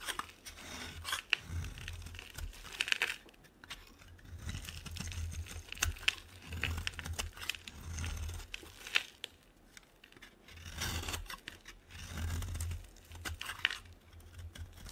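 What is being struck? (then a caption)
Bar of soap scraped with a metal blade. A solid, dry white bar of soap held in both hands is scraped with a metal box-cutter blade into fine shreds. Bursts of dry, bright crackling and crunching scrape along, separated by brief quieter pauses, over a soft low rumble.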